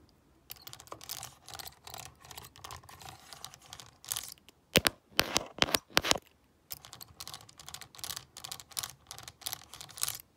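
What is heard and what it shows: A stone face roller is rolled by hand over the keypad of a hollow black plastic graphing calculator, clicking the keys. Bursts of bright, rapid plastic clicks and rattling come in uneven runs. A few sharper, louder clicks stand out near the middle, followed by a brief pause before the rolling resumes.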